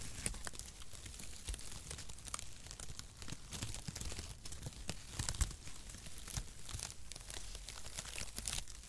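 Long strips of mesh-cut cardboard packaging shreds, stretched and draped across both hands, are pulled and rubbed around the microphone. The result is a steady, dense crinkling and rustling with many sharp, bright crackles and soft tearing sounds over a low rumble.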